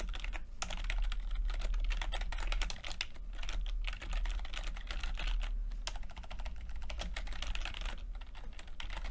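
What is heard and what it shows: Fingertips type steadily on a plastic backlit chiclet computer keyboard with plastic keycaps. A dense, continuous stream of quick, bright key taps with very short decay runs throughout, over a steady low hum.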